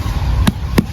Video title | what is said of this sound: అడవి పనస పండు // Jack Fruit | sound బట్టే తెలిసిపోద్ది పండిపోయిందని full గా